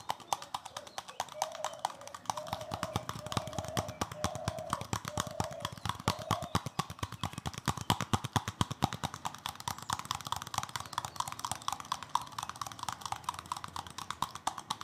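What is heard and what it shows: A hand-sized green plastic scrub brush with bristles and a solid plastic back is tapped fast with fingertips and nails. The result is a rapid, steady stream of short, dry clicking taps with little ring. From about 1 to 6 seconds, a faint low hum rises and falls underneath.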